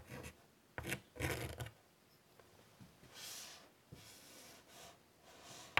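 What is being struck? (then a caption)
Chalk on a wooden-framed chalkboard. White chalk scratches flowing lines near the top edge of a large wood-framed chalkboard. Short, gritty rasping strokes come in bursts, the early ones with a low thump of contact, and later strokes turn softer and hissier with a bright, airy edge. A sharp tick of chalk on the board ends the clip.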